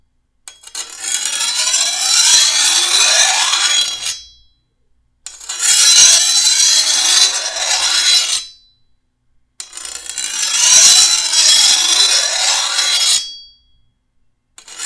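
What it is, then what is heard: Steel machete blade being filed. A hand-held steel file is drawn along the edge of a long, thin, solid steel machete blade to sharpen it. Three long, bright rasping strokes of about four seconds each are heard, separated by short silences. Each stroke has a high, ringing scrape that fades out at its end.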